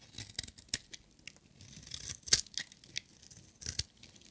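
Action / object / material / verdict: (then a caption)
scrape / bar of soap shaved with a metal blade / soap / none. A metal utility knife blade shaves a solid, hand-sized, red-striped bar of dry soap, peeling off curled shavings. A series of short, dry, crisp scraping cuts is heard, bright and high-pitched with very little low end. Each cut stops almost instantly, with quiet gaps between the strokes.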